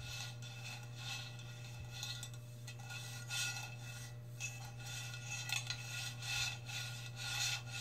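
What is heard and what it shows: Long red nails scratch and rub the brushed metal side wall of a hollow stainless steel tumbler, up close. The result is a continuous, uneven rasping scrape with bright, hissy high frequencies that swell in irregular surges over a steady low hum.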